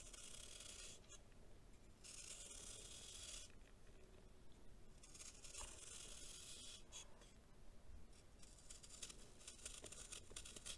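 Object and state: Compacted baking soda chunk being scraped.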